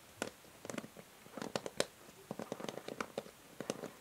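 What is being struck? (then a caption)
Plastic paddle hair brush. A paddle hair brush is held sideways while long nails tap and scratch its grey plastic back and rim above the white plastic bristles. Quiet, quick clicky taps come in uneven bursts with faint scratching between them. Each tap has a hollow plastic tone around 540 Hz and dies away almost at once.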